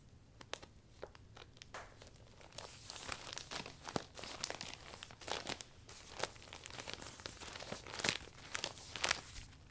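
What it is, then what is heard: Vinyl umbrella canopy crinkling. Both hands grip, twist and roll the furled vinyl canopy of a closed butterfly-print vinyl umbrella. The result is a dense run of sharp, bright crinkles and crackles with soft rustling between them. The sound is quiet overall, with brief louder snaps that die away almost instantly.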